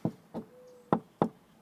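Four short, dull knocks on the exterior stucco wall of an Arizona house, an EIFS (exterior insulation finish system) over foam insulation, with a faint steady tone between the second and third knocks. The low, hollow taps die away almost at once, and this hollowness points to a drainage EIFS rather than hard coat stucco, though the finding is not fully certain.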